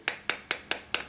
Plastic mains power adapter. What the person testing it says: ça sonne totalement creux c'est c'est que du vide à l'intérieur